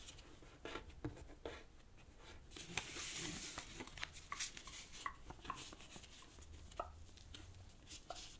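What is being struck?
Thin folded paper sheet.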